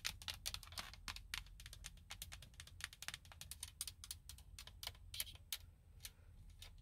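Long blue nails tap and scratch the hollow hard plastic airbag cover on a Nissan steering wheel center hub. The result is a rapid, uneven run of sharp, dry, bright clicks with almost no ring, over a faint low rumble.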